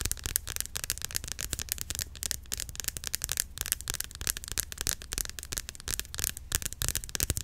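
A white plastic Cantu curl activator cream bottle, hollow and partly filled, is held horizontally and tapped quickly with long acrylic nails. A rapid, steady stream of sharp, bright clicks with almost no ring runs throughout over a faint low rumble.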